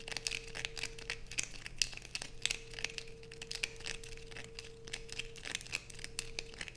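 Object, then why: Bar of soap. A solid blue bar of soap held in the hands is scratched rapidly with long pointed nails. The result is a quick run of dry, bright, crinkly scratches with sharp clicks, over a faint steady hum.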